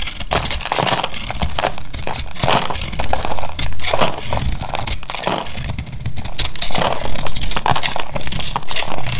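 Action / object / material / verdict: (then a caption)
scrape / bar of soap cut with a blade / soap / none. A utility knife blade carves a solid, hand-sized, coral-red dry bar of soap held with long pink nails, and brittle flakes crack off. The result is a steady, irregular run of dry crunching and crackling with bright snapping bursts over a dense low rumble.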